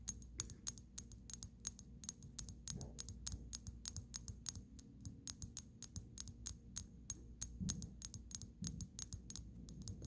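Long pink acrylic nails rapidly tap and scratch on the glass shoulders of a small amber glass dropper bottle with a black cap, partly filled with dark liquid. The result is a quick, steady stream of sharp, bright clicks with almost no ring, over a low background hum.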